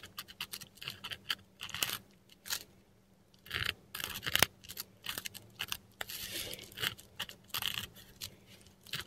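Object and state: Metal pen nib scratching on textured paper.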